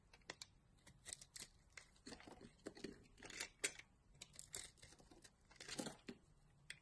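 A utility knife blade scrapes and slices the cut surface of a solid green bar of soap held in the palm, peeling off shavings. The result is a series of quiet, crisp, bright scraping and cutting strokes with short, dry bursts of crinkly texture and almost no low end.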